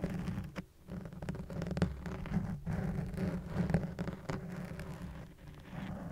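A soft, porous black foam windscreen on a white microphone is scratched and tapped with fingertips and nails, using one hand at a time near the end. This produces a dense, irregular run of muffled, rumbling scratches and soft patter. The sound is heavy in the low end, with brief sharper taps poking through and almost no bright top.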